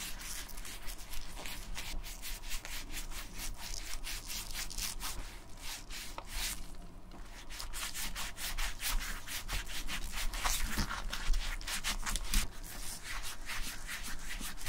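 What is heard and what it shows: A tan-brown leather bifold wallet lies open while black-gloved fingertips and nails rub and scratch across its inner leather panels and card slots. The clip is a steady run of bright, dry scraping strokes, each stroke separate and quick to fade, with a low hum underneath.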